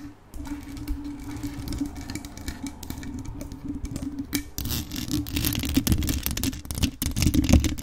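Long acrylic nails tap across the rhinestone-covered body of a hollow grey metal USB condenser microphone and scratch its black mesh grille, the gems glued on. Rapid, uneven clicking taps and scrapes sit over a heavy low rumble and a steady hum, with short dry ticks that die away at once. The scratching grows busier and louder toward the end.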